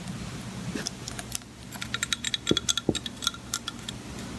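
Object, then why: Glass measuring cup. Long painted nails tap the side of an empty, clear Pyrex-style glass measuring jug with red markings, resting on a white cutting board. The taps are quick, light and irregular, with bright, glassy clicks that die away almost at once. They start sparse over a low background hum, then cluster densely in the second half.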